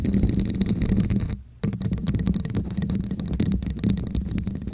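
Long nails scratch the ridged sides of a hollow red plastic cup with a diamond texture, held over the mic. The result is dense, rapid scratching with a muffled, hollow low resonance near 190 Hz and faint bright ticks. A brief quiet gap falls around the middle before the scratching resumes.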